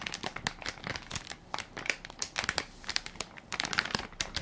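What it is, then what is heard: Plastic wipes soft pack being crinkled. A hand-sized Equate baby wipes soft pack made of crinkly plastic film, full of wipes and held in one palm, is pressed and crinkled by fingertips and nails. It gives a dense run of sharp, bright crinkles and crackles that come in quick bursts with almost no low end. Each snap dies away almost at once.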